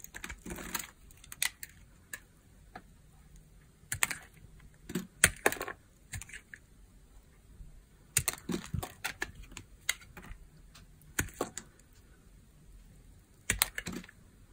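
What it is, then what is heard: Dry, crunchy glycerin soap. A metal knife blade shaves crunchy cubes and slices off a solid red translucent dry glycerin soap bar held in the hands. Sharp, bright crunching and scraping clicks come in irregular bursts over a quiet background, each dying away almost instantly.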